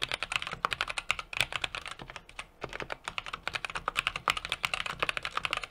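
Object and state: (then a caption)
Mechanical keyboard being typed on. A small 60% mechanical keyboard with an aluminum case, brass plate and plastic keycaps is typed on rapidly with the fingertips of both hands. The clip is a dense stream of short, bright, clicky key taps with very little low end, with a brief lull in the middle before the typing picks back up.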